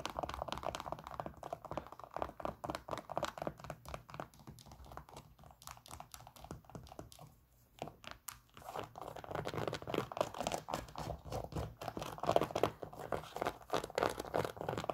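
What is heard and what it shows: Long nails scratch and tap rapidly over the synthetic upper and plastic air sole of an empty white Nike Air Max 97 sneaker held close. The result is a dense stream of dry crinkly scratches and small clicks, centered in the midrange. It dips briefly quieter around the middle before picking up again.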